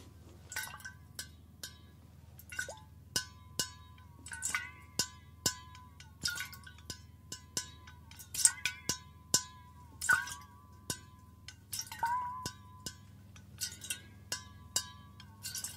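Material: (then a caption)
Stainless steel. Fingernails tap the bottom edge of an upright, hollow stainless steel water bottle in a long, uneven series of quick taps. Each tap gives a bright metallic clink with a short ringing tone around 1 kHz over a faint, steady low hum.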